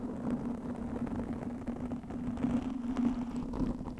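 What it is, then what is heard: Foam microphone windscreen being scratched. Long nails scratch a black foam windscreen of soft, porous foam fitted over a microphone. The result is a continuous, muffled, scratchy rustle with a steady low hum around 250 Hz and almost no bright content.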